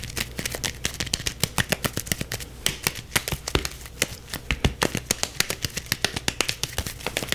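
A solid yellow softball with a stitched leather cover, held in both hands, is scratched and tapped fast with the fingertips. Dozens of quick, dry, bright taps with almost no ring ride over a steady scratchy hiss and a faint low hum.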